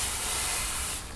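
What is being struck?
Nothing is struck.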